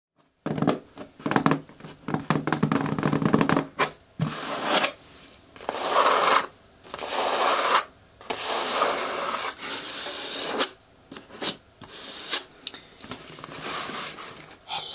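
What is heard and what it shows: Long natural nails tap and scratch the top and front of a medium, closed, hollow corrugated cardboard shipping box sealed with packing tape and resting on a table. Irregular bursts of dry, bright scratching and rasping alternate with quick, hollow taps that die away almost instantly, separated by short pauses.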